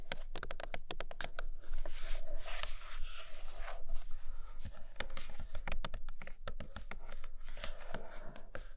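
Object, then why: Glossy cardboard box. Long nails scratch and tap the glossy printed top of a large iPad Pro cardboard box. Quick, crisp taps mix with dry, rasping scratch strokes across the surface, all with a bright, papery edge and almost no ring.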